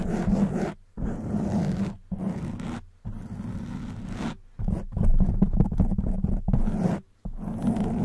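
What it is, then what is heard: Foam microphone windscreen being scratched. Long white nails scratch fast over a hollow black foam microphone cover. The result is a dense, muffled, low scratchy rustle in bursts separated by short silences, with quicker, choppier strokes toward the end.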